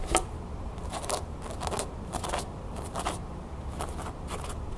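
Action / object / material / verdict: scrape / cotton canvas fabric pouch / cotton canvas / none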